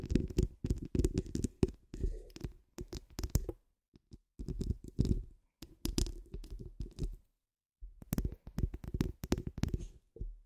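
Long acrylic nails of both hands scratch the rounded, hollow steel wire-mesh grille of a large condenser microphone. The result is bursts of rapid, close scratching that sound like deep, boomy low rumbles and thuds, with faint bright ticks on top. The bursts are separated by short silent pauses.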